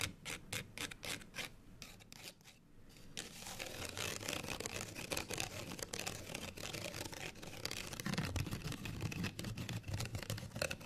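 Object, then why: Folded paper card tag. Long nails scratch a small folded, printed paper card hang tag held in both hands. Quick, dry scratches start soft and sparse, then after a brief lull build into a louder, dense run of rasping strokes with a bright, papery hiss and a low rustling underneath.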